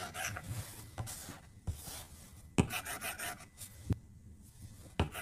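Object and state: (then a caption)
Stylus scribbling on a glass tablet screen. A plastic stylus tip scribbles coloring strokes across the flat glass screen of an iPad tablet. Soft, dry scratching rasps come in bursts, broken by a few sharp clicks as the tip taps the glass.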